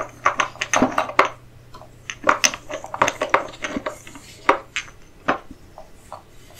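Fingertips run over, tap and rub rows of solid turned wooden chess pieces, dark and light, lying in an open wooden case lined with green felt. A loose series of short, dry wooden clicks and knocks sounds, some bright and clattery, each dying away almost at once, with quieter rubbing between them.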